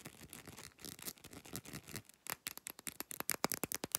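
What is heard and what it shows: Long nail tips scratch across the thick base of an amber glass supplement pill bottle, catching its ridged rim with a soft, bright rasping for the first two seconds. They then switch to quick, crisp taps on the brown glass bottom, each click dying away instantly in a fast, quiet, dry run.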